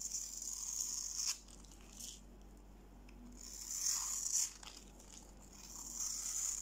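A steel utility-knife blade scrapes a solid, dry, palm-sized green bar of soap held in the hand, shaving off crunchy flakes. Bright, hissy scraping comes in three longer passes separated by quieter gaps, with crisp crackles as the flakes break away.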